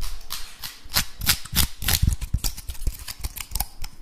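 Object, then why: Woody pine cone. A dry, brown, woody pine cone, solid and about palm-sized, is held close to the recorder while fingertips and nails scratch and rub across its scales. The sound is a fast, irregular run of sharp, crisp scrapes and clicks with bright high edges over low thumps, each dying away almost instantly.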